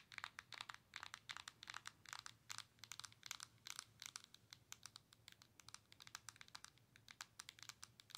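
Long nails tap rapidly on the glass touchscreen of a Nintendo Switch handheld console with a plastic body. The result is a steady stream of short, crisp, bright clicks that die away almost instantly, with a faint low hum underneath.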